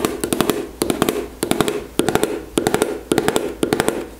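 Long nails tap quickly on the body of a white-and-green plastic gel tube held at an angle above a table. The taps come in quick repeating bursts of sharp, bright clicks over a hollow mid-pitched plastic tone, and each tap dies away almost at once.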